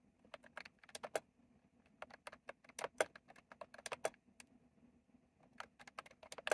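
Fast fingertip typing on a retro plastic mechanical keyboard with round plastic keycaps produces about 26 sharp, bright clicks. They come in quick bursts separated by short pauses. Each click is crisp and dry with almost no ring, and the keystrokes center on a clacky tone around 625 Hz.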